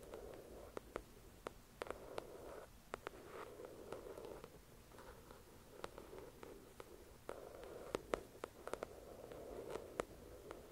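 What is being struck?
Paperback book with glossy cover.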